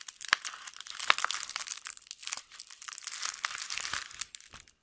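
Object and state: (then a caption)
Paper-wrapped soap bar being unwrapped. A hand-sized LUX soap bar in a white paper wrapper is held in both hands while fingers with long painted nails crumple, fold and peel back the paper. Bright, crisp crinkling and crackling fill the clip in uneven bursts, with sharper snaps standing out and almost nothing in the low end. The solid bar stays intact as the wrapper is worked open.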